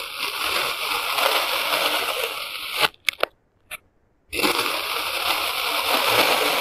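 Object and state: Kinetic sand being cut.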